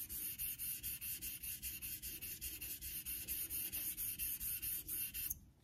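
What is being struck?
Steel straight razor on a synthetic water stone.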